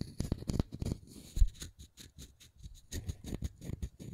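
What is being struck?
Small round wooden disc.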